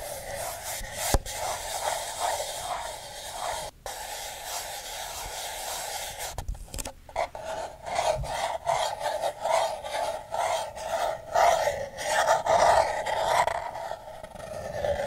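Fingernails scratch the side of a single empty, hollow paper cup with a yellow printed pattern, held upside down. The result is a dry, raspy scratching in quick, uneven strokes, with a papery midrange tone and a faint bright hiss. The strokes grow louder and more distinct in the second half.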